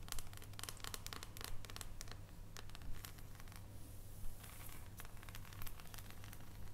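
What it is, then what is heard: Dark chocolate bar. Long fingernails tap and scratch across the squares of an unwrapped solid dark chocolate bar held above foil, making quick, crisp clicks and scraping crinkles. A steady low hum runs underneath throughout.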